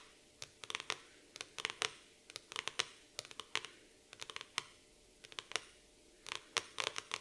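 Long nails scratch across the glossy laminated cardboard cover of a black floral hardcover notebook resting on a table. Short, crisp, bright scratching strokes come in quick clusters separated by brief pauses, with a dry, high-pitched texture and no low end.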